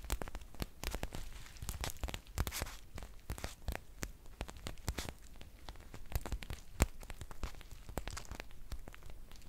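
A green foil tea pouch, held up in both hands, is squeezed and crinkled with long painted nails. Dense, irregular crackling and crisp snaps run throughout, with occasional sharper pops. Bright, broadband transients ride over a low rumble.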